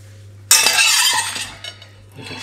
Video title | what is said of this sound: Pizza Science | hear how crispy it is